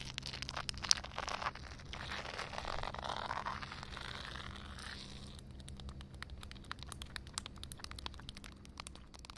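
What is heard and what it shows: Long dark red nails scratch across flat, wet concrete ground with a puddle, making a bright, gritty, hissing rasp for about five seconds. The scratching then gives way to a run of sharp, dry taps on the surface, over a steady low hum.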